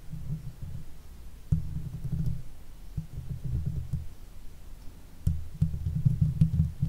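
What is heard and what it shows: Long fake nails scratch the top of a silver Blue Yeti microphone's hollow metal mesh head, then both hands scratch the sides of the grille. The scratching comes through as low, muffled rumbling bursts and soft thumps, with almost no bright content, and it swells louder toward the end.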